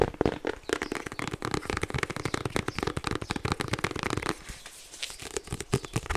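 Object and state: Hardcover paper planner.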